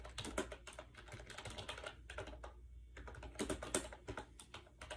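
Fingertips type rapidly on a compact gray plastic AJAZZ 308i Bluetooth keyboard with round keycaps and a hollow shell, resting on a bed. The result is a fast, irregular stream of short, clicky taps with a hollow low thump, broken by a brief lull before the typing picks up again.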